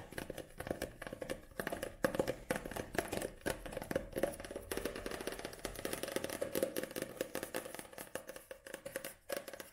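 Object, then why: Paperback book, paper and card cover. Long nails tap quickly on a paperback book, first on the paper page edges while it is held on edge, then on its glossy back cover while it lies flat. The result is a steady stream of dry, papery clicks and taps with a faint tone around 530 Hz and almost no ring.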